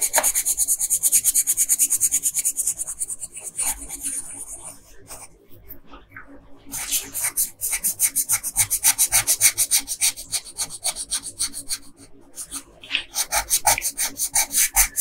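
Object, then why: Wooden colored pencil on paper. A pink wooden colored pencil scratches and rubs across a flat paper coloring page, shading the hem of a dress. Rapid, bright, raspy strokes repeat about three times per second, fading to softer scratching in the middle before picking back up, with a brief lull near the end.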